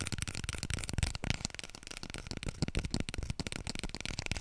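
A small, full roll of white toilet paper is held upright in both hands and scratched with long nails and fingertips. A continuous, busy stream of dry, papery scratching and soft taps with bright, crisp texture and low thumps underneath. The sound stays dense and even throughout, with no clear separation between strokes.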